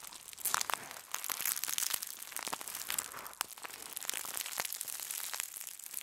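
A crumpled sheet of aluminum foil is twisted between the fists and lifted while being crushed. It makes a dense, bright crinkling with sharp crackles and snaps over six seconds, with no low end.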